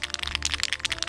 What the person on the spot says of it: when you shake them they rattle. The reason for this is they have a ball bearing on the inside to help mix the paint.